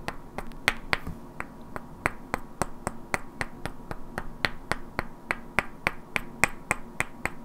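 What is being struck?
Pair of solid wooden blocks.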